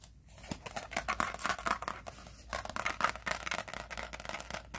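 Fingernails tap and scratch the laminated cardboard cover of a teal 2020 spiral-bound planner lying flat. Rapid, crisp, papery scratches and light taps come in uneven bursts, bright in tone with little low end. Each sound dies away almost at once.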